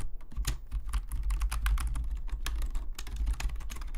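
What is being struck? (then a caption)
Plastic membrane computer keyboard. Fingertips of both hands type steadily on a black full-size plastic Logitech membrane keyboard lying flat on a desk, its hollow plastic keys giving quick, bright clicky taps in a rapid, uneven stream. A steady low hum runs underneath throughout.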